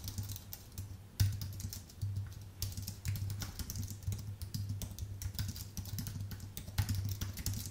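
A full-size white Apple Magic Keyboard with numpad, a thin aluminium base with plastic keycaps, sits on a dark desk and is typed on rapidly with the fingertips of both hands. Fast, dense key taps click and patter continuously over a steady low hum around 98 Hz, with bright transient clicks on top.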